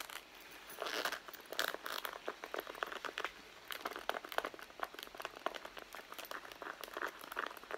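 Long blue nails scratch and tap the side leather panel of a hollow red pebbled-leather handbag resting on a mat. The result is a quiet stream of rapid, dry scratching and crinkly tapping with bright edges and no low end, each tap dying away almost instantly.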